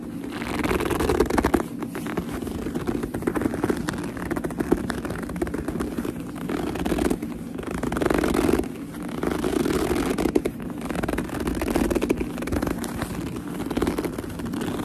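Long nails grip, pinch and scratch the black leather of a purse near the seam, making a continuous dense crackle of squeaky, scratchy friction with a low rumbling body. The texture holds steady for the whole clip, with brief dips and louder bursts as the grip shifts.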